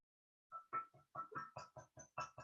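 Nine light taps on a ceramic piggy bank, each a short, tinny clink with a ringing pitch around 1.3 kHz and a faint bright overtone. The taps come in an uneven series and each rings out almost at once.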